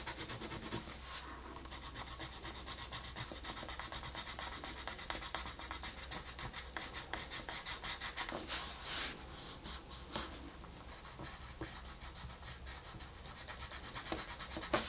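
A colored pencil held upright rubs and scratches across a flat paper coloring book page in quick, repeated strokes. The sound is a steady, dry, bright scratching hiss with short bursts of harder strokes over a faint low hum.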